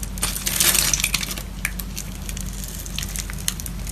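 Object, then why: Solid bar of soap. A metal box-cutter blade scores and scratches a grid pattern into the surface of a solid dark green-black bar of soap held in a palm with long neon nails. Bright, gritty scraping and crunching swells into a dense burst in the first second, then thins into sparser scratches and sharp clicks over a steady low hum.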